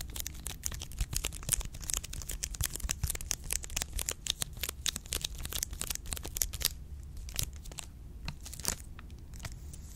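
Long pink nails scratch and crinkle the orange plastic wrapper of a full milk chocolate bar, producing dense, rapid, bright crackles and scratches over a steady low hum. After about 6.7 seconds the crinkling thins into sparser, sharper crackles.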